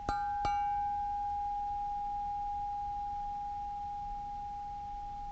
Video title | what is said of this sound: Will This Hewing Axe Ring like A Bell? Watch to Find Out!!! | you hear that it's still going